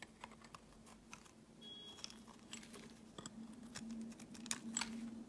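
A steel blade shaves thin slices off a solid white oval bar of soap held in the hand, making soft, irregular scraping and scratching strokes with bright, crisp edges. A steady low hum sits beneath the quiet scrapes.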